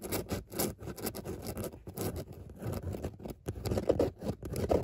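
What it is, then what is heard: Fabric car seat scratched with nails. Long natural nails scratch repeatedly across a grey textured fabric car seat with a soft padded surface and raised circular dots. The result is a steady run of short, dry, rasping strokes, with a soft low-mid body and brief bright scratchy edges, and the last second is a little louder.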